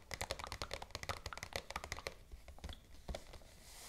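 Long acrylic nail tips tap rapidly on a white glossy paper shopping bag with black ribbon handles, lying flat on a table. About 18 crisp, bright, clicky taps with very short decay come in a dense burst for the first two seconds, then thin out into softer, scattered taps. A faint airy hiss fills the end.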